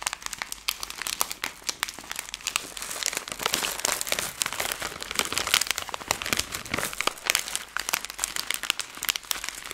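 A plastic-film Skittles candy bag is crumpled and twisted between both hands with long nails. A dense, continuous stream of sharp, bright crinkles and crackles fills the clip, with almost no low end.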